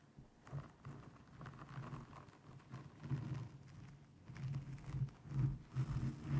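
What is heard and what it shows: Long painted nails rapidly tap and scratch a black foam windscreen over a microphone. The result is dull, muffled thumps and soft rustling scrapes, almost entirely low in pitch with no bright content. The irregular taps rise and fall in loudness.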